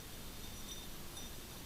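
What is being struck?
Nothing is struck.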